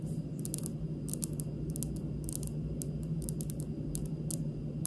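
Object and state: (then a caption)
Stone countertop tapped with fingernails. Long pink nails tap lightly and slowly across a large, solid, speckled granite kitchen countertop, making short, bright clicks that stop almost at once. A steady low hum runs underneath throughout.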